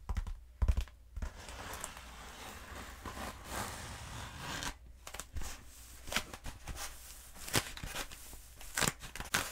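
A long black textured foam roller, held upright and then across, is tapped and scratched with long acrylic nails. Sharp, dry taps alternate with stretches of bright, rasping scratching over a steady low rumble. Each tap stops almost instantly, with no ring.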